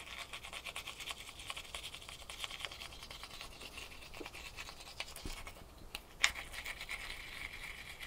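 A small solid ice cube, held in both hands, is scratched with long fingernails. Quiet, bright, rapid scratching and ticking strokes repeat steadily, with one sharper click near the end.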